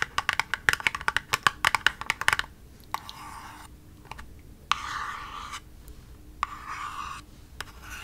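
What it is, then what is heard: Cardboard box tapped and scratched with nails. Long nails tap quickly on a small, hollow, pink printed cardboard cosmetic box held in both hands, making a rapid run of crisp, dry clicks for the first couple of seconds. Then the nails scratch across its surface in several rasping strokes of bright, hissing friction centred in the midrange, separated by short pauses and a few lone taps.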